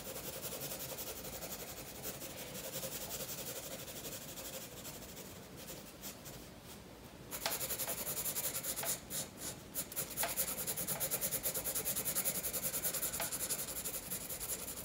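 A blue pencil is stroked steadily across a page of a spiral paper sketchbook resting on a wooden table, drawing a fish's fins. A continuous, bright, dry scratching of pencil on paper softens briefly around seven seconds. It then returns louder in fast, quick strokes.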